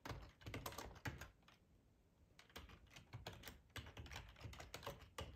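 Fingertips of both hands type on a full-size black plastic ergonomic split keyboard resting on a cloth tablecloth. The result is bursts of soft, dull key clacks with a low, thuddy body and very short decay. A brief quiet pause falls in the middle before typing resumes.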